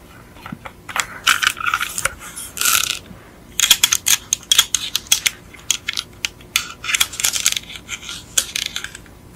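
Long acrylic nails tap and scratch the black plastic chassis and metal parts of a die-cast Beetle model held upside down. The result is a rapid, irregular run of short, bright clicks and scratchy bursts with almost no low end and very little ring, separated by brief quiet gaps.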